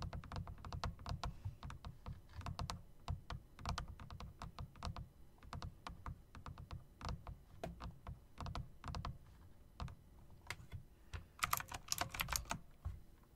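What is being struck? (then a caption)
Plastic and metal typewriter-style mechanical keyboard. Fingertips type on a plastic and metal typewriter-style mechanical RGB keyboard with round plastic keycaps in chrome rims, then long dark nails click the keys. A steady stream of quick, dry key clacks with a low thumpy body runs throughout, with louder, brighter clicks bursting out near the end.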